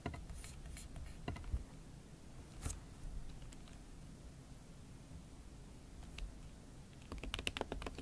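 Slow typing with the tips of fingernails on a MacBook Pro keyboard covered with a pink silicone skin. Soft, short, muted taps come in scattered clusters near the start and again toward the end, over a low, steady background rumble.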